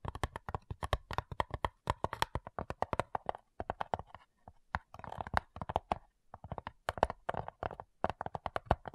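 Long nails tap and scratch the top lid of a small, hollow, light-wood cigar-style box with brass clasps lying flat. The result is a quick, irregular stream of dry, close taps with short scratchy stretches between them. Each tap is sharp and short, with a woody body around the midrange and no ring.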